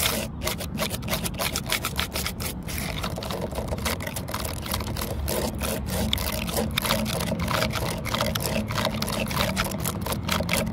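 Long nails scratch with both hands across the grain of a flat, solid, grey weathered wooden stump top with horizontal cracks. The result is a continuous run of rapid, dry, bright scraping strokes over a steady low rumble, at an even level throughout.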